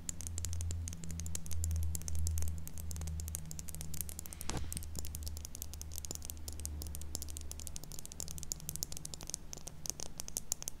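Long pink acrylic nails tap and scratch along a slim, double-ended plastic eyeliner pencil with a dark barrel and clear caps. The pencil is held horizontally in both hands just above a mini microphone that is not touched. Quick, uneven clicks and scratches come bright and dry over a steady low hum, with one sharper scrape near the middle.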